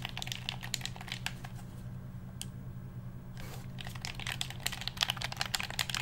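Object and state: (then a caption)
Plastic game controller. A black hollow plastic handheld game controller is held in both hands while fingertips click its buttons and tap its shell. Quick, bright plastic clicks and taps come in irregular bursts over a steady low hum. There is a quieter pause midway, broken by a single click and a brief soft rustle.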